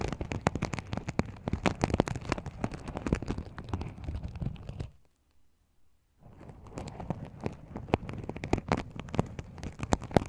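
Fingers pinch and flip the sequins at the rim of a small, empty, open sequin-covered fabric pouch, making a dense run of quick, dry clicks and crackles with a soft low rustle underneath. The sound goes near-silent for about a second in the middle, then the same rapid sequin flicking resumes to the end.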